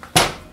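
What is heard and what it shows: A single knock on the bottom of a freshly baked sourdough loaf to check that it is done. It gives a short, hollow-sounding thud that fades within a fraction of a second, and the loaf is judged baked through.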